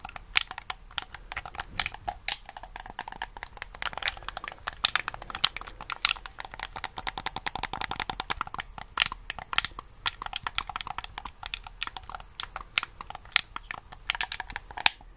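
A hollow black plastic game controller is held in both hands close to the microphone while its buttons and sticks are pressed and clicked with the fingertips. The result is a dense, steady stream of rapid, sharp, bright clicks and crinkly taps with almost no low end, each one dying away instantly, continuing for about fifteen seconds.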